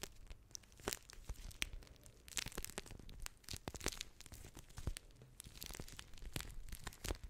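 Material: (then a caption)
Plastic. A blue water-bead gel pack with a crinkly clear plastic shell is held in both hands and scratched and squeezed with long nails. Dense, dry crinkling and crackling snaps run throughout, with bright, sharp peaks over a soft low rumble of handling.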